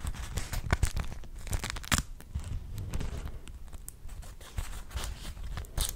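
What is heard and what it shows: A single thin, flat, pink-purple patterned cotton wrap coated in beeswax is held up and crinkled, crumpled and rubbed between fingertips. It gives soft, dry crackles and scrunching rustles with a low, muffled body and brief bright crackle peaks. The crinkles come in quick bursts that never ring out.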